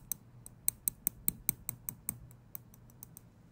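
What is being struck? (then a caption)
Small steel tweezers. Small steel tweezers have their tips clicked and flicked with the fingers, producing 13 sharp, bright metallic clicks at an uneven pace. Each click is very short with almost no ring, over a quiet low background hum.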